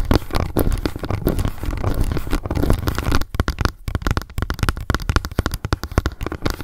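Long nails rapidly tap and scratch the lid and edge of a small, hollow, round pink plastic cushion foundation compact, first held upright and then laid flat. The first three seconds are a dense, continuous scratchy patter. After that come quicker, separated taps with short, deep, hollow knocks that die away almost instantly.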